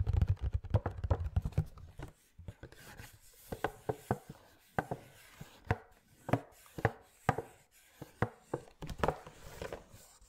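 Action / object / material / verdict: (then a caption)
tap / cardboard display box with plastic window / cardboard / none. Fingertips and nails tap and scratch a small cardboard Funko Pop display box with a clear plastic window and a figure inside. A fast flurry of dull, low thumps opens the clip, then gives way to sparser, sharp dry taps separated by soft scratchy rubbing. Each tap dies away almost at once.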